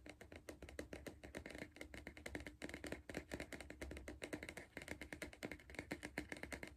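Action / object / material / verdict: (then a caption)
tap / hollow cardboard crisp tube / cardboard / none. Fingertips and nails rapidly tap the side wall of a hollow Pringles cardboard crisp tube held in the hand. The result is a quick, continuous stream of short, dry taps with a hollow resonance around 300 Hz and a papery, bright click on top.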